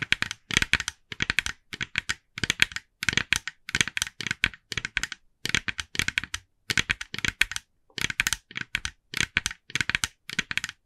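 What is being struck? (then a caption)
Plastic pumpkin decoration. Long nails on both hands tap rapidly on the face of a hand-sized, hollow, glossy orange plastic jack-o'-lantern decoration. Dozens of crisp, bright, clicky taps come in quick bursts, each dry and short with almost no ring, separated by brief pauses.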